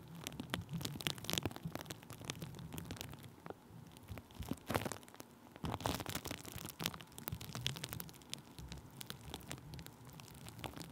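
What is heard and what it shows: Thin clear plastic bubble wrap stretched over a microphone is tapped and rubbed with a wooden stick. Dense, dry crinkling and crackling taps run throughout, with sharp bright bursts over a low, muffled rumble. A few louder clusters of taps stand out along the way.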